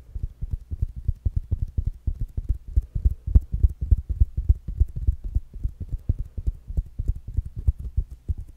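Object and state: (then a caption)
Fabric-covered smart speaker. A small, rounded black smart speaker with a fabric mesh cover and a solid body is held in one hand and tapped with fingertips and short nails. The result is a steady run of quick, dull, low thumps at roughly three to four per second in a loosely uneven rhythm, each dying away instantly with no ring.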